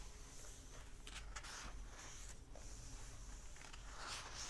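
Flat fingers and short nails rub and tap the paper pages of an open hardback book. Soft, dry scratching and brushing comes in bright bursts over a quiet, steady low rumble, with a few light taps mixed in.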